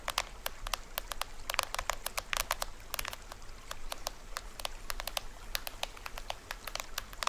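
Fingernails scratch and tap near the edge of the printed plastic film head of a small hollow toy drum held upright. Dozens of quick, dry, bright clicks and taps patter irregularly over a soft scratching hiss and a low background rumble, each one stopping almost instantly with no ring.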